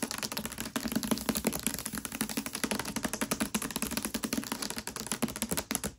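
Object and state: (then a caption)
Hardcover book with paper dust jacket. Long nails on both hands tap quickly on the front cover of a Mistborn hardcover book with a glossy paper dust jacket, lying flat. The result is a rapid, continuous stream of short, crisp clicks with a bright edge and a light hollow tone around 220 Hz, each tap dying away almost instantly.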